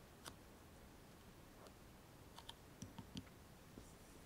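Fingernails lightly tap the metal lid top and edge of a closed small round cosmetic cream jar resting on a foam mat. Six short, dry clicks with bright ticks and a soft low knock, spaced irregularly over a quiet background.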